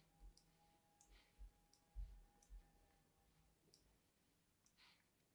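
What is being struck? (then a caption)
Solid bar of soap. A thin blade scores diagonal grooves into a solid, palm-sized white bar of soap held in one hand with long yellow nails. Six crisp, short carving clicks sound at an uneven pace, each with a soft low thump and a brief bright scratch, over a quiet background with a faint steady tone.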